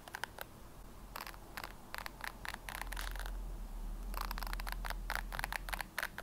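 Long nails scratch and flick the white bristles of a red plastic hairbrush over and over. The clip is a quick, uneven run of short, bright, crisp plastic flicks and scratches that come in clusters with brief pauses. A steady low hum runs underneath.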